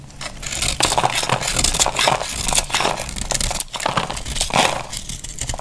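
A solid, hand-sized bar of dry pink soap is held in the hand and carved with a snap-off utility knife blade, so brittle curls and flakes crack off. The result is a dense, bright crackling and scraping that swells with each stroke and never fully goes quiet.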